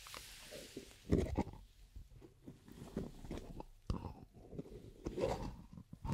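Long acrylic nails tap the black lid and sides of a small, hollow, round plastic cosmetic cream jar with a white-and-red label. A series of quiet, hollow clip-clop taps sounds with a low, dull tone. Each tap fades quickly and there is faint noise between them.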